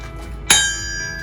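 A 165-pound Mousehole iron anvil from 1891 is struck once to demonstrate its anvil ring. It gives a sharp, bright strike followed by a high, bell-like ringing tone that fades over about a quarter second above a low background hum.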